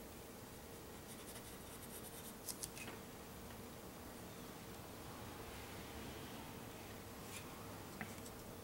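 A white pencil tip is drawn and scratched in short strokes across a flat sheet of black drawing paper on a solid backing. A quiet, steady papery scratching and rubbing runs throughout, with faint bright ticks and a couple of sharper scratches standing out briefly.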